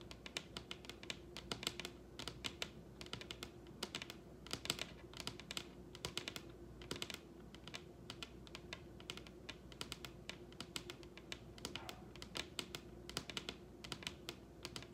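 Long red nails on both hands tap quickly across a large solid wooden table top. The result is a rapid, continuous stream of sharp, bright clicks, each dying away almost instantly, over a faint steady hum.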